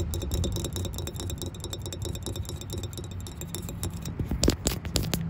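A solid anodized aluminum tow hook ring with a large center hole is tapped and scratched with long nails and fingertips. It makes a steady stream of quick, dry clicks and scrapes over a low rumble, with bright metallic ticks that die away almost instantly. Near the end a few sharper, louder taps stand out.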